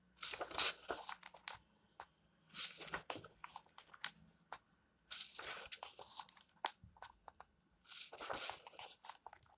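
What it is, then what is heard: Paper book pages. Fingertips rub and lift the thin paper pages of an open book held on a table, making four bright, crisp page-turning rustles with short crackles in between. The sound is dry and close, with almost no low end and no ring.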